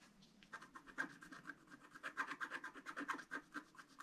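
A wooden stylus scratches into a flat black sheet of wax-coated scratch art paper, etching the bricks of a chimney. A quick, uneven run of short, dry scratching strokes comes through, each with a thin rasp centred around 1.5 kHz and a little brightness above. The strokes are quiet and close, with almost no low end.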